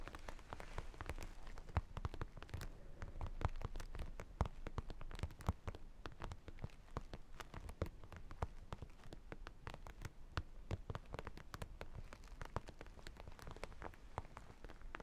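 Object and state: Sequin and holographic vinyl makeup pouch.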